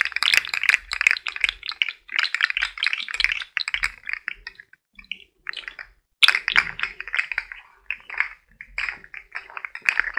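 A hollow, rainbow-colored plastic fidget slug toy with jointed segments is held in the fingertips and flexed and wiggled, so its segments click against each other while a similar worm lies still on the floor. The result is bursts of rapid, dry, bright clicking and rattling with very short decay, a brief lull in the middle, and then more clicking.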